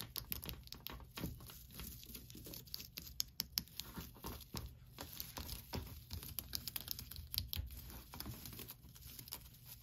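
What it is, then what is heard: Plastic tinsel pumpkin decoration. Long nails scratch and rub through the strands of an orange plastic tinsel pumpkin decoration with black felt face cutouts and a green tinsel top, hung on a wall. The result is a steady, quiet, dry crinkling and rustling, dotted with many quick, bright ticks and scratchy bursts over a low rumbling background.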